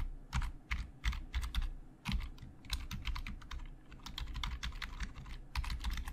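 Fingertips type fast and tap the hollow plastic keys of a black plastic Logitech full-size keyboard. Quick bursts of dry, clacky keystrokes carry bright clicks over a low, hollow thump, separated by brief pauses, and each strike dies away almost instantly.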